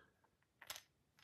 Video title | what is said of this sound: Frodo is Shaking in His Boots! - Reaver Arms Citadel Flashlight Full Review | it just kind of drops in and bounces around bounces off the spring